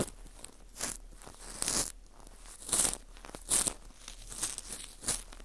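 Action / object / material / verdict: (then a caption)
scrape / dried wheat gluten ring (fu) / dried wheat gluten / none. A cotton swab rubs inside the hole of a small hollow ring of dry, porous baked wheat gluten (fu) held in a gloved hand. It makes dry, bright scratching and crunchy rustling strokes. They come in several louder bursts over a quiet crackling background.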